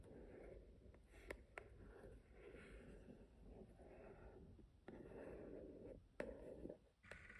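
Fingertips and long nails tap and scratch the lid of a small white and gold marble-print cardboard keepsake box resting on a wooden table. Soft, papery scratching rises and falls in steady bursts centred around 500 Hz, broken by a few sharp, bright taps that die away quickly.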